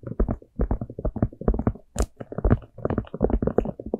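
Long manicured nails rapidly tap and scratch the surface of a small, hollow, empty orange plastic jack-o'-lantern cup with an open top. The result is a dense flurry of soft, hollow, low-pitched knocks with short, dry decays, mixed with scratchy texture. A brief bright scrape stands out about halfway through.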